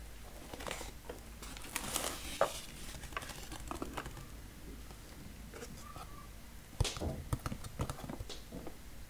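Fingertips tap and rub the sides and top of a large brown cardboard box, first held up at its edge and then lying on a wooden table. Soft, dry taps and scratchy, crinkly rubbing come in quiet bursts, with a few sharper knocks standing out over a low, steady background hum.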